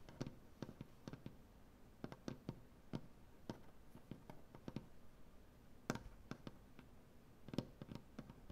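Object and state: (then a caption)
Solid wooden butcher block table. Long dark-painted nails tap on a solid light wood butcher block tabletop, making a quiet, irregular run of short, dry clicks. Each tap has a low woody thump and a brief bright tick that dies away almost instantly, with a few louder taps near the middle and end.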